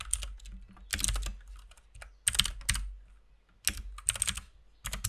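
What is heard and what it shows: Both hands type with their fingertips on a compact RGB mechanical keyboard with white and pink plastic keycaps. The clicky, bright key taps come in irregular bursts with short pauses between them, over a steady low hum.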